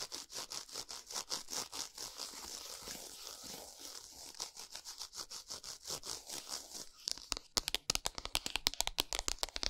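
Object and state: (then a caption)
Cardboard chocolate bar box. Long nails tap and scratch a flat Lindt chocolate bar still in its printed cardboard packaging, which lies on a towel. For about seven seconds, quick, bright, dry scratching and tapping runs almost continuously. It then gives way to sharper, louder, more separated taps that stop dead with no ring.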